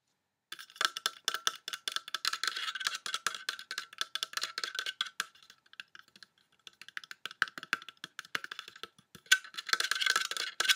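A large, solid black plastic coat hanger, held over a dark wool coat, is tapped and drummed with fingertips and nails along its arm and end. Rapid, dry, clicky taps with a bright tone around 1.5 kHz die away almost instantly. Dense flurries thin out to sparse, scattered taps in the middle, then build back into a fast, busy drumming at the end.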